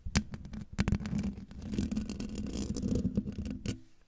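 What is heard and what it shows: Long painted nails of both hands scratch up and down in a steady motion over the hollow metal mesh grille of a silver microphone. The result is a dense, low, rumbling scratch with a faint hum near 200 Hz, broken by several sharp, bright clicks. It fades out at the end.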